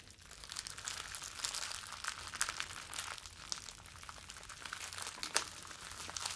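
A bundle of clear plastic bubble wrap is held in both hands, crumpled and rubbed with the fingers. A steady, bright crinkling and rustling runs throughout, with dense dry crackles and a few sharper snaps standing out, and almost no low end.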